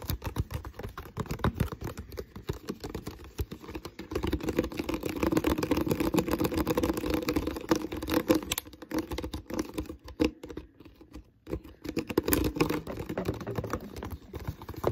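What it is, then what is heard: Empty plastic water bottle. Fingertips and nails tap and scratch the body of an empty, hollow, clear ribbed plastic water bottle. The result is a dense stream of quick, dry clicks and scratchy rustles with a hollow, low-mid resonance. It briefly thins out near the eleven-second mark, then picks back up.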